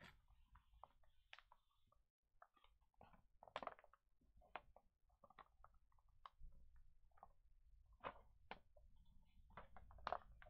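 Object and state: Glossy magazine pages rubbed and flipped.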